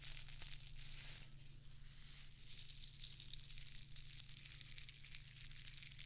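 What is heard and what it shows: A small square of plastic artificial grass turf is held in one hand while its blades are scratched and squeezed with long acrylic nails. The result is a steady, bright crinkling and scratching texture with constant rustle and a low hum underneath.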